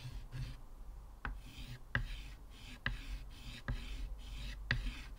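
Fingers holding a stick of blue chalk scratch and rub strokes across a flat, solid, square black chalkboard in a thin wooden frame lying on a table, with a wave drawing already on it. Soft, dry scratching runs throughout over a low rumble, broken by five sharp, short clicks as the chalk strikes the board.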